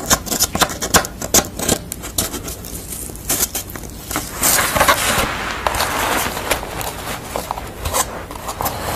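Long nails scratch the corrugated edge of a pastel portrait drawn on corrugated cardboard and tap across its surface. Quick, crisp taps and dry scraping rasps come in an uneven rhythm, with a longer stretch of brighter scratching midway.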